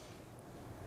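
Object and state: Nothing is struck.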